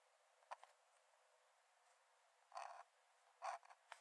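A metal nib in a wooden dip-pen holder scratches short strokes onto the cream paper page of an open paper sketchbook lying flat on a dark desk while drawing. The sound is a series of quiet, dry, scratchy bursts centered in the mid range, with brief bright edges and no low end. They sit over a steady faint hiss, with longer rasps near the middle and a cluster of quick scratches toward the end.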